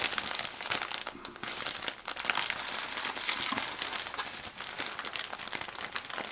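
A thin plastic bag full of white cotton balls is turned and squeezed in the hand while fingertips rub and crinkle its plastic surface. The result is a steady, close, dry crinkling with quick crackly bursts, bright and hissy, with almost nothing in the low end.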